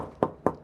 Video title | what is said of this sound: Rumah Gen Z yang Fresh Luar Dalam di Sutera Nexen Virtu Phase 2 | Bunyinya padat ya nggak kayak kaleng